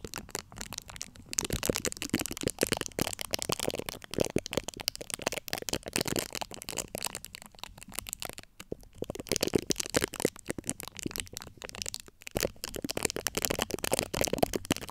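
Long acrylic nail tips scratch across the top of a large USB microphone's domed, hollow steel-mesh grille. The result is a dense, bright crackle of rapid dry scratches and ticks that comes in bursts, with brief pauses near 1.3, 8.5 and 12 seconds.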